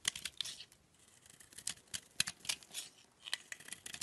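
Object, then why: Bar of soap. A solid oval peach-colored bar of soap held in the hand has flakes scraped and chipped off by a utility knife blade. Quick, dry, bright scraping and crisp chipping ticks come in uneven bursts, with almost no low end.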